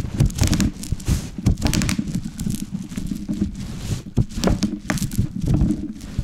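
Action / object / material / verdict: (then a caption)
scrape / plastic bubble wrap on a wooden board / plastic / none. A large sheet of plastic bubble wrap with hollow air cells, lying on a wooden board, is rolled over and crushed with a wooden rolling pin held in both hands. A low, heavy rolling rumble carries an irregular, rapid series of sharp crackling pops and bright snaps as the bubbles burst, each dying away almost instantly.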